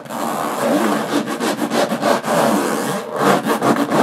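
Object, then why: Small aluminum case with textured lid. Long fingernails scratch the textured metal lid of a small, hollow aluminum briefcase, producing a dry, continuous rasping scrape. The strokes are steady at first, then turn into quicker, rhythmic pulses of scratching toward the end.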